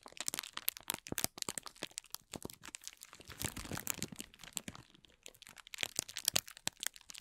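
A palm-sized ball of thin, clear plastic film is held and squeezed in both hands while the fingertips rub and crinkle its surface. The result is a dense, continuous run of sharp, bright crackles and crunches with almost no low end. Each snap dies away instantly, and the level swells and eases as the squeezing comes and goes.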